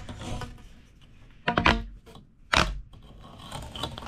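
A large, hollow purple corrugated plastic pop tube toy lies stretched out on a wooden table while hands press and rub along its ridges. Soft ribbed scraping and rasping are broken by two louder, bright crackling bursts as the ridges are squeezed, before settling back into quieter rubbing.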